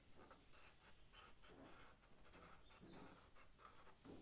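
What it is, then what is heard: Charcoal stick stroked on sketchbook paper. A charcoal stick is stroked across the paper of a sketch pad, shading a leaf. Soft, dry scratching strokes come in repeated bright, hissy bursts with a faint low rumble underneath, all at a quiet level.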